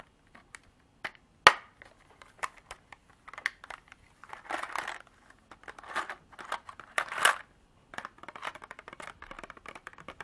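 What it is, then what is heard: Plastic container tapped and scratched with nails. Long artificial nails tap and scratch a small clear hard-plastic container, partly filled with small beads, held in both hands. Sharp, bright clicks are scattered through the clip, with one loud tap near the start and short bursts of scratchy rattling in the middle. The clip ends in a dense run of quick light tapping.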